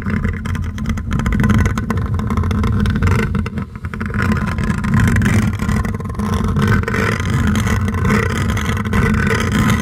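Long fingernails of one hand grip and scratch all over the large hollow metal wire-mesh grille of a silver condenser microphone. The result is a dense, continuous, bass-heavy rumbling scrape with a low droning tone and faint brighter rasp. It stays fairly steady throughout, with only a brief dip in level partway through.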